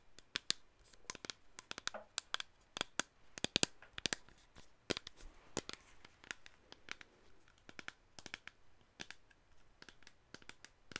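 Long acrylic nails tap and scratch on the body of a hollow black plastic cosmetic spray bottle held close to the mic. Quick, dry, bright clicks come in an irregular stream with soft scratching between them and almost no ring.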